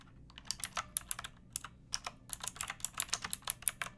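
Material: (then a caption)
Plastic. Long dark nails and fingertips type continuously on a hollow-bodied pink mechanical keyboard with round plastic keycaps and a backlight, resting on a wooden board. Quick, bright plastic clacks come in about two dozen separate keystrokes, each one short and dry with almost no ring and a faint high tick on top.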